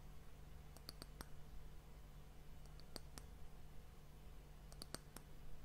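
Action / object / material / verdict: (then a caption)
tap / wooden hourglass end cap / wood / none. Long fingernails tap and scratch the flat top of a round, solid, glossy brown wooden disc that caps a glass sand timer, held near the recorder. Short, sharp clicks with a bright edge come in small clusters over a steady low hum, each dying away almost at once.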